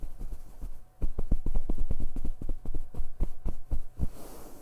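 Flat hands quickly pat and rub the surface of a grey padded fabric comforter, making rhythmic, low, muffled thumps. A softer patter in the first second gives way to louder, faster pats, ending in a brief brushing rub.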